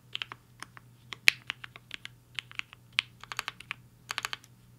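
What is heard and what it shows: Fingertips of both hands type fast on a compact HI-FINGER 7.5 mechanical keyboard with a black case and white and pink plastic keycaps, resting on a desk mat. The result is a quick, uneven run of short, bright plastic clicks with almost no ring, some louder strikes standing out, over a faint steady low hum.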